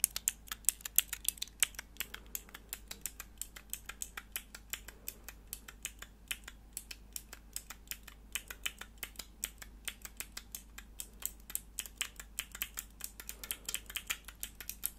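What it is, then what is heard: Plastic keyboard switch tester. Long nails rapidly press and click the grey plastic keycaps of a small, hollow, clear plastic mechanical keyboard switch tester with four switches, held close. A steady stream of short, sharp, bright clicks and taps sounds throughout, each dying away almost instantly over a faint low hum.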